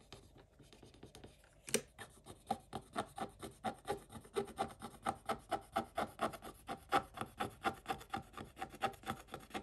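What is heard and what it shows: A wooden stick scrapes across the same flat scratch-off coated paper page in a scratch book, producing dry, papery rasps. After a faint start, one sharper scrape lands and is followed by a steady run of about 33 short, brisk strokes, each with a bright scratchy edge and no ring.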